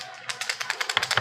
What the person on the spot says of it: it sounds like a rattle